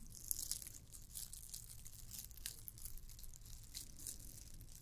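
Long nails scratch a red and white glittered plastic candy cane ornament. The result is a quiet, continuous run of bright, dry scratching and crinkling bursts over a steady low rumble.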